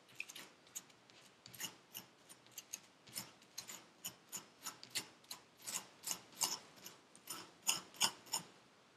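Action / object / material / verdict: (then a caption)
scrape / packed kinetic sand in a paper cup / sand / none. A gloved hand scrapes the surface of packed purple kinetic sand in a paper cup with a metal pick tool. About 22 short, bright, gritty scrapes come at an uneven pace of roughly three per second. The sound is quiet, with almost no low end, and each scrape dies away almost at once.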